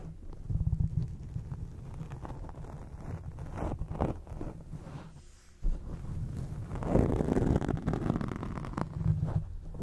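Long acrylic nails and nail tips scratch a black foam microphone windscreen. The result is a dense, low, muffled rumbling scrape with little brightness. It goes briefly quiet just past the middle, then resumes louder and busier.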